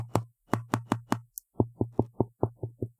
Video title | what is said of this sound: Is The Custom Keyboard Community DYING? ft Epomaker AK820 Pro | you can sort of tell that there's a lot of foam and a lot of dampening going into this board